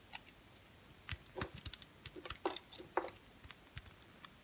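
A utility knife blade cuts and scrapes an orange and cream striped bar of soap. The result is a quiet, irregular series of short, crisp scratches and clicks, each bright and dry with almost no ring.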